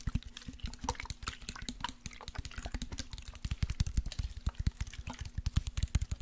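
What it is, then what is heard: Glass body mist bottle, partly full. A partly full clear glass bottle of orange body spray with a lace print and a silver pump cap is tapped with fingertips and nails and shaken. Rapid, dense taps give short, dull low knocks with bright clicky edges and soft liquid sloshing between them. The tapping grows louder and more spaced toward the end.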